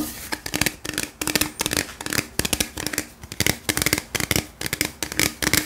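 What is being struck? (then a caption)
Aluminium drink can. A tall, hollow gold aluminium beverage can, held in the hand, is tapped rapidly with the fingertips. The result is quick bursts of bright, dry tapping with a thin metallic ring and very little low end.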